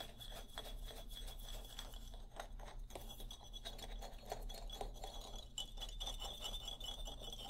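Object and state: Wooden xylophone bars scratched with fingernails.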